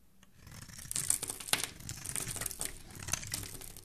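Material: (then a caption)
Soap. A black utility knife blade scrapes and shaves a solid, palm-sized orange bar of soap held in one hand, peeling off crumbly curls. The audio is a run of dry, bright scratching and crinkly crumbling strokes, with a few sharper scrapes standing out over a soft, steady rasp.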